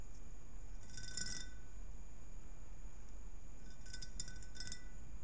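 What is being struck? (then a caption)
Ribbed glass globe. Long nails on both hands tap and scratch the ribbed surface of a hollow, empty, clear ribbed glass globe. Bright, glassy clicks and chinks come in two clusters, near the start and again toward the end, over a steady low background rumble.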